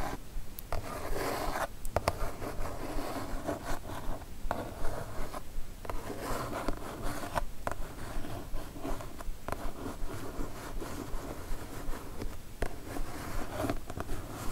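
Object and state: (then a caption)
Kraft cardboard mailer box. Fingernails scratch and tap mostly along the top edge of a kraft cardboard mailer box for a Divoom Ditoo-Mic Retro Pixel Art Karaoke Set. A continuous dry, rasping scrape is broken by soft, quick taps that stop short with no ring, at a fairly steady rhythm throughout.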